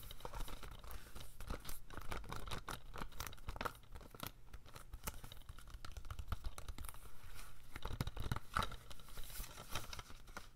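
A standard hollow plastic G.I. Joe DVD case with a plastic cover sleeve, held in both hands, is tapped and scratched with medium-length pink-painted nails. Rapid, dense hollow taps and crinkly scratches run steadily throughout, with a low thumping body under short, dry clicks that barely ring.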